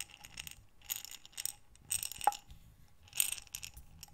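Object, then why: Glass jar of small buttons. A medium glass mason jar with a metal screw lid, mostly full of small buttons, is held in both hands with long dark nails and tilted and rotated so the buttons slide and rattle inside. Quiet bursts of bright, clicky rattling come in waves. Midway a sharp glassy clink rings briefly at a mid pitch.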